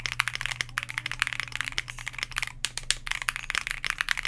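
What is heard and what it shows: Keys on a white Bakeneko60 60% mechanical keyboard (plastic case, PBT dye-sub keycaps, FR4 plate, lubed KTT Grapefruit linear switches) on a desk mat are pressed rapidly with the fingertips of both hands in a typing test. The result is a dense, fast stream of short, bright clacks with almost no ring, over a faint steady low hum.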